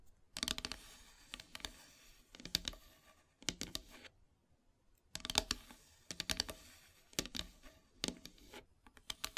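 Long silver nails tap and scratch near the edges and center of a flat, solid, black-painted wooden heart plaque. Bursts of quick, dry, bright clicks and scrapes come in clusters separated by short pauses. Each tap dies away almost instantly, with very little low end.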